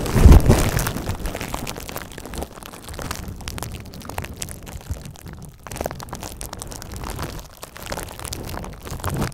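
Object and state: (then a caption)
Plastic bubble wrap being popped and crinkled. A sheet of clear plastic bubble wrap with air-filled bubbles, held in front of a microphone, is pinched, pressed and scratched by fingertips and long red-painted nails. A loud, low pop bursts at the start, then dense, irregular crackling and crinkling continues with scattered small pops as bubbles burst.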